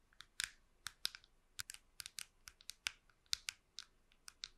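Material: Plastic.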